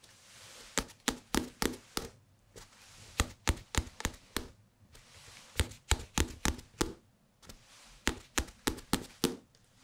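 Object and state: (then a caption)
Small hardcover book. A small, thick hardcover paper book with a glossy photo cover, solid and held up in both hands, is tapped with the fingertips on the cover and the spine side. About 24 short, dry taps come in quick bursts separated by brief pauses, each dying away almost instantly over a soft background hiss.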